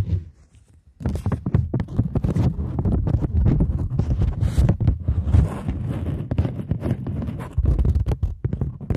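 A polymer £20 banknote, turned to its back side, is bent edge-on and then held flat while long nails scratch and tap across its surface. After a brief near-silent second, a dense stream of crinkly scratches and quick dull taps follows, heavy in low thumps with fainter bright crackle on top.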